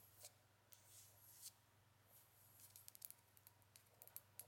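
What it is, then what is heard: Glass foundation bottle tapped with nails. Long acrylic nails tap and scratch a small frosted white foundation bottle, apparently glass and seemingly filled, with a black cap. Soft, airy scratching swishes alternate with a run of sharp, bright clicks that die away almost instantly, all over a faint low hum.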